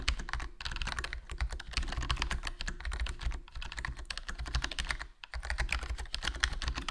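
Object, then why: Plastic membrane keyboard. Fingertips type continuously on a HyperX Alloy Core RGB plastic membrane gaming keyboard with a foam mod, a hollow black plastic case and black plastic keycaps. The result is a steady, rapid stream of short, muted, low-weighted key clacks with faint brighter clicks on top, each dying away almost at once. Brief pauses fall around 0.5, 3.4 and 5.2 seconds.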